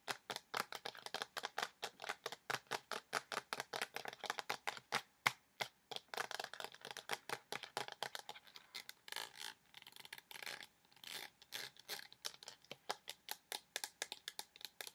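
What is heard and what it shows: Fingernails rapidly tap and scratch a partly filled pink plastic lotion bottle with a white cap and a label. A fast, steady stream of dry, bright clicks with almost no low end and no ring continues throughout, with a few lighter scratchy stretches in between.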